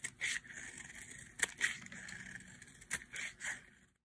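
A metal utility blade carves and scrapes the edge of a hand-sized, orange bar of dry soap with a bumpy massage top, held in one hand, shedding flakes. The result is a series of dry, bright scraping strokes centered around 1.9 kHz, punctuated by sharp cutting clicks, and then it fades to silence.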